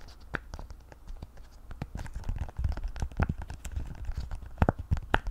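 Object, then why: Silicone pop-it fidget toy. Long nails scratch and tap across the hollow bubbles of a hand-sized rainbow octagonal silicone pop-it fidget toy held close. The result is dry, rustling scratches broken by a quick, irregular run of short, sharp clicks over a soft low thud, with no ring after each tap.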